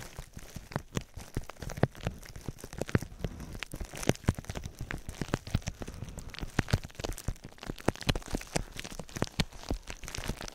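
Fingertips scratch and rub the sides of clear plastic bubble wrap wrapped around a binaural microphone. A steady, dense stream of short, dry crackles and sharp clicks sounds close and fairly low, with each snap dying away almost instantly.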